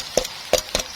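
Fried, drained pork belly skin is tapped against a tray in a few short, dry knocks with a wood-like, hollow tone and a bright crackly edge. Each knock dies away almost instantly, showing the skin is crispy.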